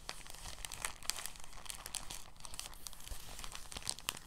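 A thin, empty, translucent soft plastic bag is opened and crumpled in both hands. It gives a steady stream of soft, bright crinkling and crackling with sharp little snaps over a faint low rumble.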